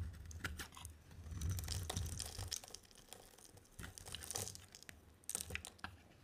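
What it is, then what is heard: Dry bar soap being scraped. A solid white bar of dry soap with a yellow coating, held in the hand, is carved and scraped with a utility knife blade. The result is a run of crisp, dry scraping and crunching strokes, coming in irregular, closely spaced bursts with bright, high edges over a soft low rumble.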